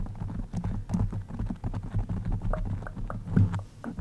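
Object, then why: Foam microphone windscreen. Long pink-and-white acrylic nails scratch and tap on a soft, rounded black foam windscreen over a microphone. The result is a dense, muffled patter of quick scrapes and soft taps, heavy and boomy in the low end with almost no brightness. Each touch dies away almost instantly.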